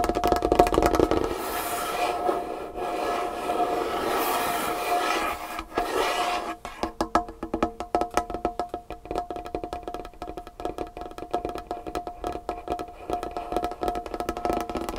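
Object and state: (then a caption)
Wooden table tapped with fingernails. Long painted fingernails tap fast on a large, solid, varnished wooden tabletop. For the first six seconds the tapping blurs into a dense, continuous clatter; then it breaks into quick, distinct, irregular clicks. The clicks are short and dry, with a faint wooden ring around the mid pitches.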